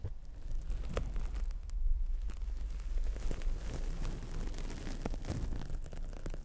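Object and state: Dry foam sponge.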